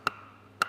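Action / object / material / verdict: knock / wooden logs knocked together / wood / dry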